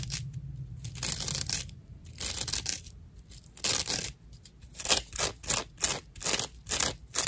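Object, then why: Natural loofah sponge. Long nails scratch the fibrous edge of a dry natural loofah sponge, making rough, bright, papery scraping strokes. The strokes come as bursts that grow shorter, sharper and more rhythmic toward the end, over a faint low hum.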